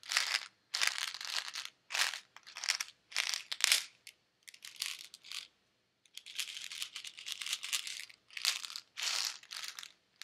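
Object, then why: Plastic pill bottle with tablets inside. A white plastic Advil bottle with pills inside is shaken and handled by fingers with nails. Short bursts of bright, crisp rattling and clicking come in quick clusters separated by brief silences, with almost no low end.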